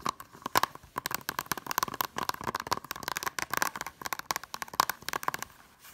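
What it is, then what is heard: Plastic disc case. Long nails tap quickly along the top edge of a small, hollow blue plastic Blu-ray keep case, then on its back cover. The result is a rapid run of sharp, dry clicks, each with a short hollow ring around 1 kHz and a bright edge. The taps fade out at the end.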